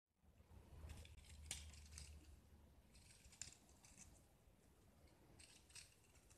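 A small solid block of white gypsum with a yellow painted surface dotted with holes is held in one hand and scraped and carved with a metal utility knife blade, and the flakes fall onto a pile of shavings. Dry, crisp scraping strokes come in irregular bursts with bright, gritty edges and a few sharper clicks over a quiet low rumble.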